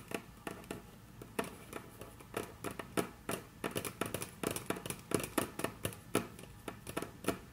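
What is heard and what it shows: Very long natural nails tap on a flat, solid, dark brown wood-grain tabletop, with the hands shifting slightly between strokes. The result is a steady, irregular series of sharp, dry clicks that die away almost instantly, with soft rustling and brushing in between.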